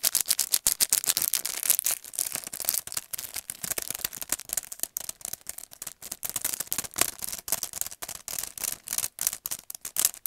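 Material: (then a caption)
Plastic. A long, narrow paint brush set in a clear plastic blister pack on a cardboard card is held upright and tapped and scratched with the fingernails. The result is a fast, irregular stream of crisp, bright clicks and scratchy plastic rustles with almost no low end, each tap dying away almost instantly.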